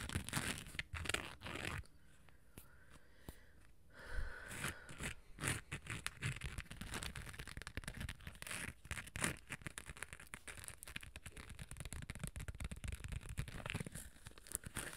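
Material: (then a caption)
Glitter plastic. Long nails scratch along the gold glitter sides of a small, hollow, hard cosmetic case with a beige lid, held in both hands. The scratching makes a dense, gritty crackle with bright rasping edges and a hollow low thump, dropping to near silence for about two seconds early on before resuming steadily to the end.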